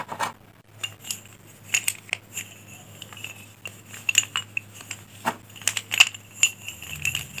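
A handful of solid pink chalk sticks, held upright between both palms, is rubbed and shaken together by hand so the sticks knock and rub against each other. The result is a run of bright, dry clinks and rattling taps that die away almost instantly, with soft scraping between them over a quiet background.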